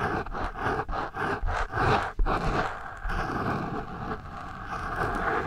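The eraser end of a pencil rubs across the porous foam windscreen of a microphone, making a dull, muffled scratching with most of its energy in the low and middle range. Quick back-and-forth strokes pulse for the first two seconds, followed by a sharp scuff and then a steadier, continuous rubbing.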